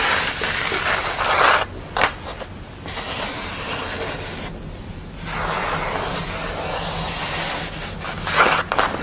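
Long acrylic nails scratch and rub across a flat sheet of paper or thin board painted with a green and blue face, lying flat on a towel. Crisp, broadband scratching swells and fades in bursts, broken by a few quiet gaps and some sharper taps.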